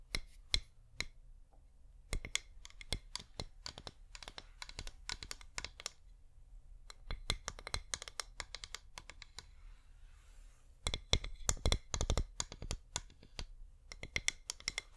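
Long nails tap and scratch a flameless wax pillar candle, making dozens of sharp, dry clicks that cut off almost instantly. Each click carries a bright, high edge over a faint, steady low hum, with soft scraping between taps. The tapping comes in irregular bursts and grows busiest near the end.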